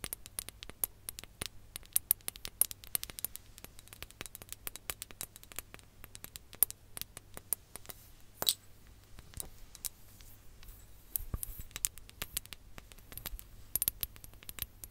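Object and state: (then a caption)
Glass hourglass tapped with nails. A glass hourglass is held sideways over the microphone while its bulbs are tapped and scratched with long nails. Dense, sharp, bright clicks and light scraping patter run throughout at a quiet level, with a few louder taps standing out. A faint steady low hum sits underneath.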